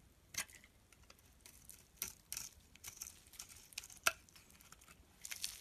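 A utility knife blade scrapes and shaves flakes off the top of a green rectangular bar of solid soap held in the palm. Quiet, bright, crisp scraping strokes come in short bursts with soft rasping between them, and the sharpest scrape lands near the end.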